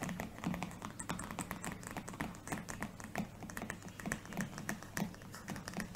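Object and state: Spiral notebook with laminated cardboard cover.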